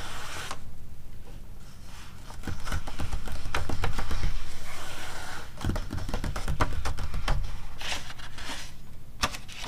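Quick, uneven scratches and light taps follow one another, each a short papery hiss with almost no ring. A steady low rumble sits under them. The sound is a soft matte paper page resting on something cushioned, which swallows the taps.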